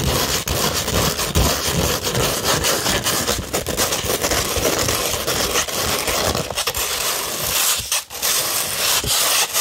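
Long red nails scratch across a flat sheet of 240-grit sandpaper in steady, continuous strokes. The result is a dense, bright, gritty rasp that stays loud throughout, with only brief dips in the scratching.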